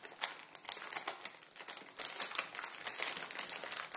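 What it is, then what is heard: Plastic noodle packet crinkled. Fingertips scratch and crinkle the surface of a plastic film ramen noodle packet resting on a wooden table. The result is a dense stream of bright, crackly rustles and scratches with almost no low end, rising and falling in quick bursts throughout.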